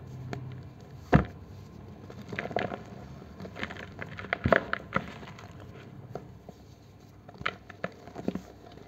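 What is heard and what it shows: A solid green gym chalk block is held over a basin of chalk powder and squeezed and crushed between the fingers of both hands until it breaks and crumbles. Sharp, dry cracks and crunches stand out from a soft, gritty crumbling patter, and the sounds come at an uneven pace.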